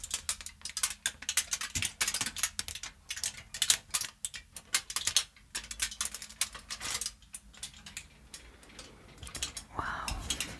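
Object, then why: Aluminium foil sheet. A crumpled aluminium foil sheet, held in both hands, is squeezed and crinkled with fingertips and long nails. It makes dense, bright, crackling bursts in irregular rapid clusters, thinning to softer rustles near the end, with a brief duller swell at the close.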